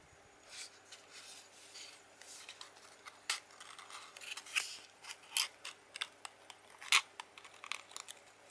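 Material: Cardboard.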